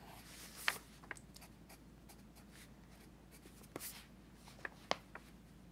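A pencil tip scratches across an open paper sketchbook page resting on a teal folder while drawing, with the other hand holding the page flat. A faint, steady papery scratching runs throughout, broken by seven short, bright pencil ticks and light strokes, all at a quiet level.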